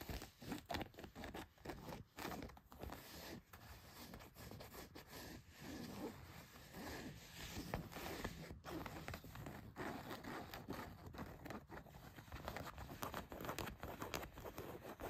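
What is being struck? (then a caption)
Denim jeans. Long white nails scratch the surface and pocket stitching of blue denim jeans laid flat, working over the back pocket and leg. Quiet, continuous rough scratching and rasping comes in quick strokes, with a low, dull texture and brief sharper swipes throughout.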